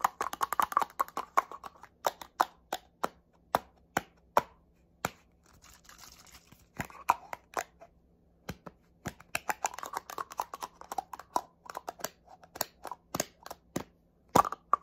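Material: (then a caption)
Plastic. Fingernails tap and scratch a small black plastic spray bottle held horizontally, making rapid, sharp, dry clicks centered in the midrange that stop almost instantly. Bursts of quick tapping alternate with softer hissy scratching in between, over a faint low hum.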